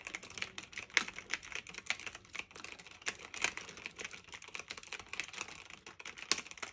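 Fingertips with medium nails type steadily on a black retro typewriter-style mechanical keyboard of plastic and metal with round keycaps, resting on a fluffy blanket. A rapid, continuous stream of bright, crisp clicks and clacks is heard, with almost no low end. Each keystroke stops almost instantly, with a few sharper, louder strikes standing out.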